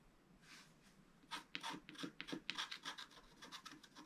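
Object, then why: Scratch-art card scratched with a wooden stylus. A thin wooden stylus scratches across a flat, black-coated scratch-art card, with a brush lying unused beside it. After a faint rub near the start, a run of quick, irregular, dry scraping strokes begins at about 1.3 seconds, each bright and raspy with very little low end.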